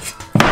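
A bare sheet-aluminum rear bulkhead panel, one of two separating the cockpit from the engine bay, is knocked before any sound deadening is applied. A faint tap is followed by a sharp, louder knock that leaves the panel ringing on a low tone with bright metallic overtones. The untreated panel rings noticeably.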